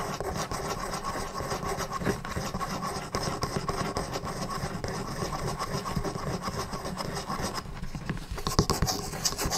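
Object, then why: Small wooden desk calendar blocks. Fingertips and nails rub and scratch the two number cubes of a small wooden desk calendar sitting in its stand. The result is a steady, dry, close scratching and rubbing texture, weighted toward the low-mid range, with short, unresonant scrapes. Toward the end, a few brighter, sharper scratches stand out.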